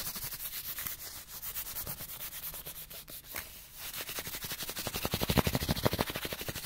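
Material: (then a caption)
Cardboard. Fingertips rapidly rub and scratch a small, partly flattened printed cardboard light bulb package, making a fast run of dry, papery scratching strokes. After a brief lull just past the midpoint, the scratching resumes, growing louder and more bright toward the end.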